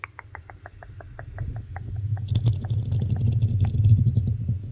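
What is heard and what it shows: Fingertips and long nails rub and scratch the hollow black metal mesh grille of a desktop microphone. A steady run of short, quick taps opens the clip, then it builds into denser, louder scratching with a deep low rumble and bright crackles.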